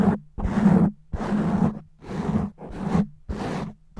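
Natural fingernails scratch and rake fast and roughly across a black foam microphone windscreen with one hand. The result is a run of dense, rough rumbling bursts separated by brief gaps, heavy in the lows with a steady hum-like tone near 190 Hz.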